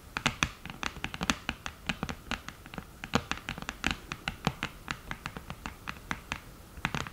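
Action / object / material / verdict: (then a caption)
tap / cardboard eyeshadow palette with mirror / cardboard, glass / none. Long nails tap and scratch the mirror and lid edge of an open, flat cream cardboard eyeshadow palette. Dozens of quick, dry clicks and scrapes follow in an irregular, steady rhythm, each one short and bright with almost no ring.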